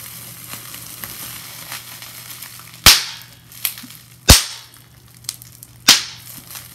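Fingers with long nails twist and squeeze a handful of clear plastic bubble wrap, popping its air-filled bubbles. Soft, bright plastic crinkling runs underneath three sharp, loud pops, with a couple of quieter snaps between them. Each pop cuts off almost instantly.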